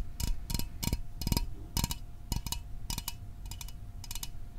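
A small, hollow metal Fanta orange soda can, held close to the microphone, is tapped with fingertips and fingernails. Quick, bright clicks with a dull low thump come in short bursts and clusters and die away almost instantly, over a faint steady tone.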